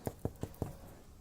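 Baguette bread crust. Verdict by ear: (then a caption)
Hollow. Four quick, dull taps on the bottom of a freshly baked baguette give a short, low, hollow thud each time. The hollow sound shows the bread is baked through.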